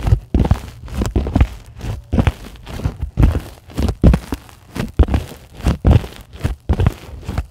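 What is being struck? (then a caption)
Polyethylene foam sheet. Long glittery acrylic nails on both hands scratch across a flat, solid sheet of white closed-cell polyethylene foam. The result is an irregular series of dry, low, rubbing crackles and soft squeaky scrapes. Each burst is short and dies away quickly.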